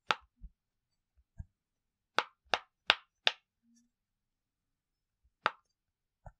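An octagonal rainbow silicone push-pop bubble fidget toy, flat and about hand-sized with hollow bubble domes, is held in both hands while the fingertips press and pop its bubbles. Six sharp, bright popping clicks stand out, spaced irregularly, with a few softer dull pops between them. Each pop dies away almost instantly, with no ring.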